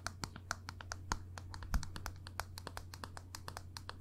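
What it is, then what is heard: Plastic makeup compact. Long nails tap a small black plastic NARS makeup compact, a hollow case held in one hand. It produces a quick, irregular series of sharp, bright clicks with almost no ring, over a steady low hum.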